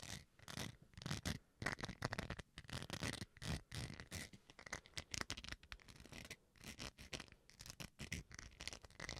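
Fingernails scratch the textured face of a small, solid white plastic rice paddle. Quick, dry, bristly scratching strokes come in rapid irregular bursts, bright and rasping, with brief quiet gaps between them.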